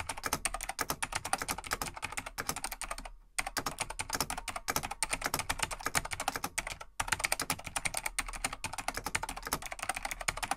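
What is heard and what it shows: Fingertips of both hands type rapidly on a vintage full-size mechanical Laser XT/AT keyboard, a large beige plastic desktop board with light plastic keycaps. A dense stream of sharp, bright, clacky keystrokes with very short decay runs throughout, broken by two brief pauses around 3 and 7 seconds.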